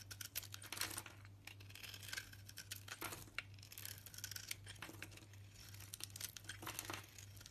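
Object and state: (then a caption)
Soap bar being shaved with a knife. A knife blade shaves curls off a solid green striped soap bar with a pale yellow interior, held in the hand. A rapid run of short, crisp scraping and crinkling strokes comes through, bright and dry, over a steady low hum.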